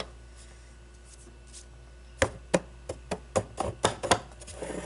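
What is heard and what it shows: Long blue-painted nails scratch and tap the sides and top of a small hollow clear acrylic display cube holding a baseball. Faint, soft scratching opens the clip, then a quick run of sharp, dry plastic taps follows. The taps are bright clicks with a hollow mid-range knock and almost no ring.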